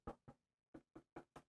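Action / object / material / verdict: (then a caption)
knock / wooden electric guitar body / wood / resonant. Knuckles knock six times in two pairs of three on the light wooden body of a 1974 Fender Stratocaster electric guitar. Each knock is a short, hollow, resonant thud centered in the low mids that dies away quickly, and the body's resonance is heard as good.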